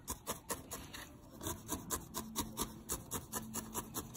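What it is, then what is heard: Felted wool ball being needle-felted. A small, solid grey-lilac needle-felted wool ball is held in the fingertips and repeatedly stabbed with a thin steel felting needle. About 18 short, bright, rasping stabs with a rubbing texture come in a quick, somewhat uneven rhythm, roughly two per second. Each stab dies away almost instantly.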